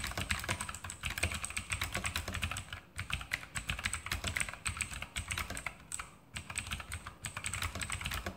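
A full-size RGB Sharpshooter X2000 mechanical keyboard with Outemu blue switches and plastic keycaps on a metal top plate is typed on with fingertips in continuous key presses. Rapid, bright clicky keystrokes with a low thud under each press run steadily, with brief lulls around 3 and 6 seconds.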